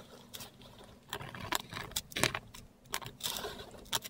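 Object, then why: Metal pen nib on a paper sheet. A metal dip pen nib scratches script and Cyrillic letters in ink across a flat, textured Korean paper sheet. Short, bright, scratchy strokes come in irregular bursts, separated by quiet pauses over a faint low background hum.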